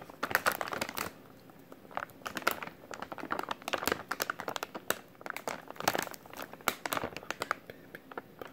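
A white plastic-film packaging pouch with printed text is held in both hands while the fingertips squeeze and crinkle it. Bursts of sharp, bright crinkling and crackling come in clusters, separated by brief quiet gaps. Each crackle is dry and cuts off almost at once.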